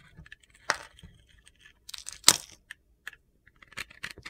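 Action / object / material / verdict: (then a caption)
scrape / bar of soap scraped with a metal blade / soap / none. A metal utility knife blade scrapes thin shavings off a solid rectangular bar of soap with a pink-red glitter coating, held in hand, exposing the white soap underneath. Short, crisp, gritty scrapes come in irregular bursts, bright and high with almost no low end. The loudest strokes fall near the start and middle of the clip.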